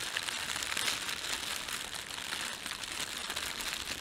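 An empty, thin red printed plastic bread bag is rubbed and gathered by fingertips. The film gives a steady, bright crinkling and crackling for the whole clip. The sound stays dense and high, with almost no low end.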